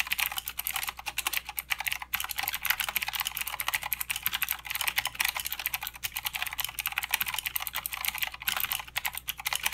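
Fingertips of both hands type continuously on a full-size mechanical keyboard with plastic keycaps and blue clicky switches. The result is a steady, rapid stream of sharp, bright clicks with almost no low end, each one dying away almost instantly.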